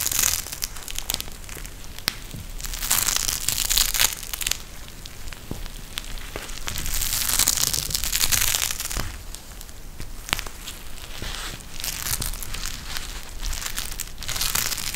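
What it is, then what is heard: Gel bead eye mask squeezed. A pink eye mask with fabric trim and a clear plastic shell filled with gel beads is bent and squeezed in both hands. It gives a steady, bright crinkling and crushing crackle that swells and fades in waves, dotted with sharp clicks and a low thumping underneath.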